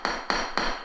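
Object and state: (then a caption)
Solid, well-bonded floor tile. A solid, well-bonded ceramic floor tile is tapped three times, giving three short, sharp knocks with a bright, firm tone centred near 1 kHz and little ring between them. The tile sounds solid, as a well-bonded tile should.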